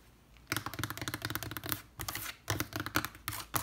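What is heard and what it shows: Long red nails rapidly tap and scratch the planks of a large, weathered wooden trunk lid with metal studs and rivets, with a black cable lying across it. The sound is quick, dry, clicky taps with bright edges and almost no ring. They come in fast bursts separated by brief pauses over a faint low hum.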